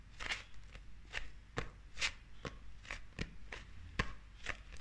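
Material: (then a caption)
Paper. Long acrylic nails tap and scratch the glossy illustrated cover of a closed, solid, hand-sized paperback manga held up in the hand. The result is a steady series of sharp, dry clicking taps with bright, crisp scratching between them, each tap stopping at once with no ring over a faint low rumble.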